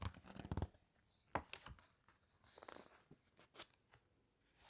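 Long nails and fingertips press, rub and turn the glossy pages of a large open hardcover book. A dense burst of crinkly paper rustling opens the clip, followed by a sharp snap of a page and softer scattered crackles and rubs. Between them the clip is almost silent.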